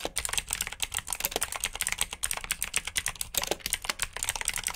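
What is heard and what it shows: Fingertips type steadily on a black plastic backlit mechanical keyboard with blue switches. Dense, rapid clicky keystrokes come in quick runs, each a short, bright, crisp click with almost no ring and little low end.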